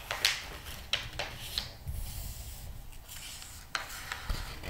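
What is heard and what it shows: Fingertips rub and turn the glossy paper pages of a thick interior-design magazine lying open on a rug. Crisp, bright swishes and page flicks stand out over a soft, steady low rumble of brushing paper.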